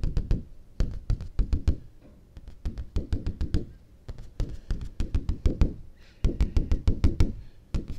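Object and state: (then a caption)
Cardstock paper sheet. A large, thin, stiff white cardstock sheet is held upright in one hand while fingertips and nails tap its flat surface. The result is quick, irregular bursts of dull, low, papery thumps, each topped with a sharp click from the nails. The taps die away almost instantly, with brief pauses between flurries.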